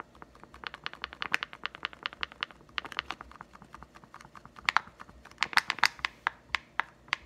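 Fingertips rapidly tap and scratch the clear plastic blister bubble over a green Nite-Glo putty egg on a cardboard card. About 28 sharp, dry plastic clicks with no ring follow in quick succession, mixed with light scratching and crinkling, growing louder toward the end.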